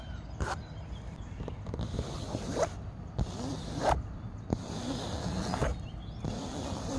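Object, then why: Canvas fabric chair seat. Fingernails scratch the taut woven fabric of a grey canvas chair seat fitted with metal grommets and elastic cords. The result is repeated bursts of dry, bright scratching, each lasting about a second, with a few sharp clicks, over a steady low rumble.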